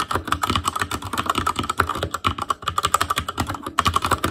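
Continuous fingertip typing on the plastic keycaps of a black plastic Asus Claymore Core mechanical keyboard. A rapid, steady stream of sharp clacks with a clicky tone near 1.3 kHz, each dying away almost at once.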